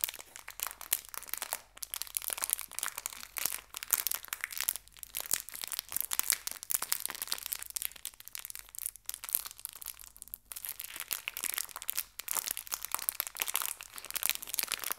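A small clear plastic bag full of colorful fabric hair ties is crumpled and squeezed in both hands with fingertips and long red nails. Dense, bright plastic crinkling and crackling runs steadily throughout, with short sharp snaps and brief pauses between squeezes.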